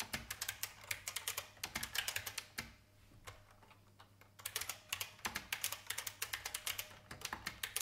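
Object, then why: Plastic mechanical keyboard keys. Fingertips of both hands type on a vintage beige IBM mechanical keyboard with plastic keys, producing bright, crisp clacks in quick bursts. The typing pauses briefly near the middle, leaving a few scattered taps, then resumes at a steady pace.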